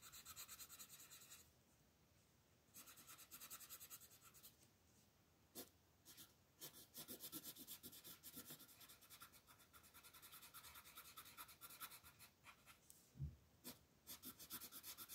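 A red colored pencil rubs and scratches across a flat paper coloring book page, coloring in a crab's legs. Bright, raspy bursts of quick back-and-forth strokes come in runs, broken by short quiet pauses and a few sharper single scratches.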